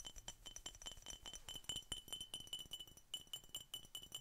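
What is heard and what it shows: A glass Coca-Cola bottle is tapped in a quick, uneven series of light clinks. Each tap gives a bright, glassy ping centered around 3 kHz, with high overtones that die away almost at once. The tapping is quiet and continuous, with little low-end body.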